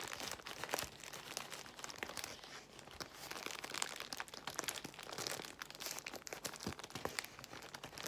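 Long nails scratch a large bundle of clear plastic bubble wrap while fingers pinch and crinkle it. The result is a steady, bright crinkling with many quick, sharp clicks and crackles, and almost no low end, lasting about eight seconds.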